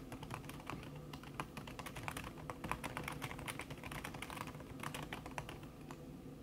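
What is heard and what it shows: Long red nails type fast on a backlit laptop keyboard set in a silver aluminum body, its keys covered by a thin red silicone skin. A dense, steady stream of soft, muffled clicks and taps runs without pause, with brighter transient ticks scattered throughout and a low hum underneath.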